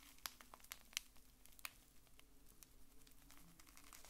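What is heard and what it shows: A small bar-shaped pack wrapped in blue printed plastic film is held in both hands and squeezed and crinkled with the fingers. It gives quiet, dry, bright crackles and a few sharper snaps over a soft low hum, with each crinkle dying away at once.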